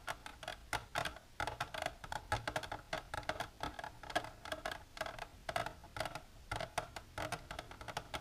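Long natural nails with silver polish tap continuously on a plastic container for ASMR. Rapid, dry clicks with a hollow tone around 715 Hz and bright edges fall in uneven bursts, each dying away almost instantly.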